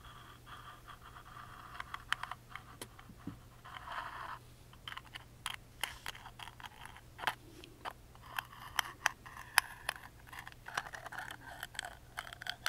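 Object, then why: Small carved plywood music box lid. A wooden toothpick scratches across the engraved top of a small, hollow, carved plywood music box lid. Quiet, dry, bright scraping strokes are broken by many sharp clicks and taps, over a faint steady low hum.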